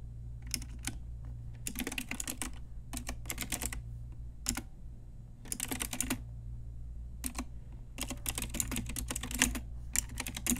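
Typing on an Ajazz pink retro typewriter-style mechanical keyboard with round plastic keycaps, struck with long nails and fingertips. Bursts of quick, bright plastic clicks come in uneven runs separated by short pauses, over a steady low hum.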